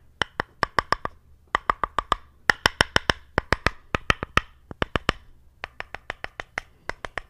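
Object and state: Wooden paddle tapped.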